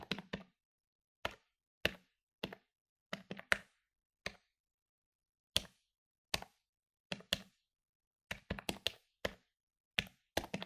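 A medium-sized plastic electronic desktop calculator lies on a wooden table while its plastic keys are pressed rapidly with fingertips. About two dozen short, dry, bright clicks come in irregular bursts and quick clusters, each with a faint low thump and no ring. Brief silences separate the groups of taps.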